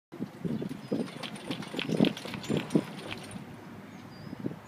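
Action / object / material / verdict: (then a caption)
shake / metal wakeboard tower on a boat / metal / none. A metal Monster Tower MT2 wakeboard tower mounted on a boat is shaken by hand to test how tight and rattle-free it is. Irregular dull knocks and thumps come through, with short clicks and faint higher rattles over a steady low background.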